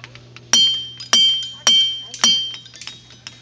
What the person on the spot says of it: the rocks don't ring like bells as I hoped but it was still cool to take a hammer to them